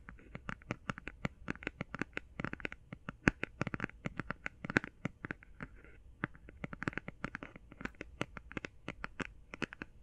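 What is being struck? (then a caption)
Cardboard-covered eyeshadow palette. Painted nails tap and scratch fast on a small, flat, hand-sized cardboard-covered "Dream St." eyeshadow palette, which is closed. The result is a rapid, uneven run of dry, crisp clicks that stop instantly, with bright edges, over a faint low hum.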